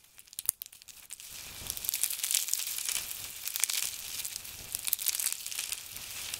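Both hands dig into a heap of crisp blue and grey dried soap flakes, grabbing and crushing them between the fingers. A few sharp, scattered crackles open the clip, then give way to a dense, steady crinkling and crunching that is almost entirely high and bright, with little low end.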